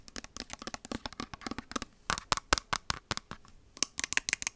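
Long white acrylic nails tap and scratch along the body of a hand-sized, hollow white plastic skincare squeeze bottle with a green flip cap, held near the microphone. About 26 quick, crisp clicks and scrapes sound in a rapid, uneven series, bright and hollow with almost no low end, each dying away instantly.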